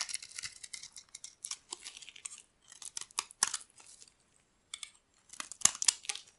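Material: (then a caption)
Soap. A metal blade scrapes brittle chunks off a solid, dry cream-colored bar of soap. Quick, bright, crisp scratching and crackling bursts come in clusters separated by brief silences. Each burst is dry and short with almost no low end.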